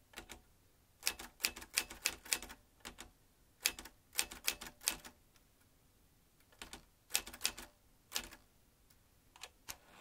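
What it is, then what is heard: Manual metal typewriter being typed. A vintage manual typewriter with round metal-rimmed keys and metal typebars is typed with the fingertips of both hands. Bursts of sharp, bright clacks come in uneven runs separated by short pauses, each strike dying away almost at once.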